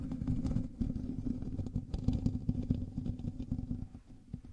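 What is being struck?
Metal mesh microphone grille.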